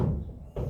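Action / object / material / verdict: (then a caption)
tap / surface over a hollow space / unknown / hollow. A tap on a hollow spot of a classroom surface over a hollow space gives a low, hollow, drum-like tympanic thud centered around 150 Hz, with almost no high frequencies. The short ring sounds like the normal percussion note of an air-filled lung.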